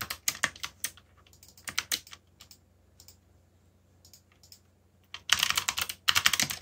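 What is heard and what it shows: Fast fingertip typing on a backlit plastic mechanical keyboard with black plastic keycaps produces sharp, bright clacks with almost no low end. Scattered keystrokes in irregular bursts give way to a quieter stretch of softer taps, then a dense, rapid flurry of loud clicks near the end.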